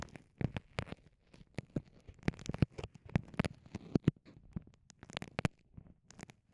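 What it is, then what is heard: Soft vinyl pouch being scratched and pressed. Long nails scratch and fingertips press a small, clear, soft vinyl pouch with microphones inside. The result is a quiet, rapid run of brief, dry crinkles and pops, heavy in the low end, with very short decays and soft rustling between them.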